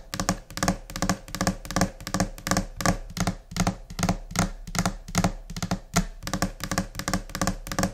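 Long nails and finger pads tap across the flat, solid surface of a white laminate desk in a scattered, irregular rhythm. Dull low thunks from the pads mix with brighter, sharp clicks from the nails. Each tap dies away almost at once.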